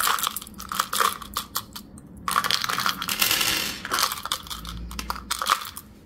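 A small, hollow, translucent orange plastic Tic Tac box, partly full of hard mint candies, is held in the fingertips and tipped and shaken. Bright, clicky rattles come in quick bursts, then a denser stretch of rattling runs through the middle. The candies pour out into the palm.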